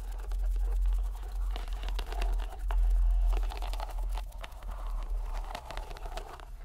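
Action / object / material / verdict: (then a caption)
scrape / rubber stress ball in a mesh net / rubber / none. A green rubber mesh stress ball inside a white net is squeezed in the hand so the rubber bubbles bulge out through the mesh. It gives off irregular crunchy, crinkling squishes and sharp clicks over a steady low hum.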